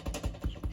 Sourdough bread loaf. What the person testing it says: Hollow sounding drum, sort of sounds like it's baked basically.